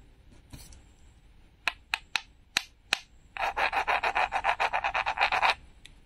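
Metal tweezers scratch and peel the glitter film off a small, flat, solid red painted wooden toy tomato held in the palm. Five sharp, separate scratches come first, then a fast, rhythmic run of bright, raspy scrapes.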